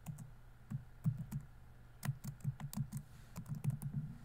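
Fingertips type fast on the plastic keys of a laptop keyboard, producing quiet, dull, low-pitched clicks with faint bright ticks at each keystroke. The taps come in quick irregular bursts and die away almost instantly, with a soft steady hum underneath.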